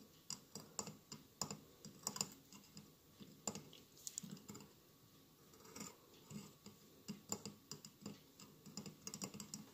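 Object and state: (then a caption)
Glass mosaic candle holder. Fingernails tap and scratch across a hollow glass mosaic votive with a lit candle inside. Quiet, bright, clicky taps with almost no ring come in an uneven, rapid series, with soft scratching filling the gaps between them.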